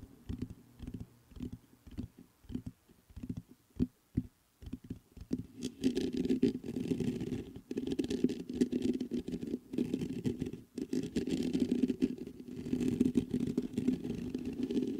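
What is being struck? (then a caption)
Metal condenser microphone with mesh grille. Fingertips scratch the mesh grille of a black metal USB condenser microphone. It begins as a series of short, separate scratchy strokes, then turns into dense, continuous rubbing. The sound is a close, muffled rasp centered in the low-mids around 250 Hz, with little bright content.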